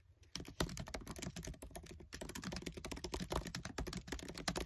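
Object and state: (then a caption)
Plastic laptop keyboard keys. Short-nailed fingertips type fast on the black plastic keys of a MacBook Air keyboard set in an aluminium body. The result is a dense, rapid stream of short, dry clicks and taps with a soft low thump under each keystroke. There is a brief pause near the two-second mark.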